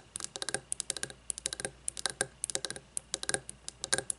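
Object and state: Frosted glass candle jar.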